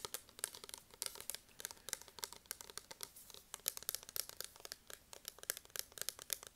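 A plastic spray bottle is tapped rapidly and irregularly, picked up close on an earphone microphone. The dense stream of crisp, bright clicks and crinkly ticks sits mostly in the high frequencies, and each tap dies away almost instantly.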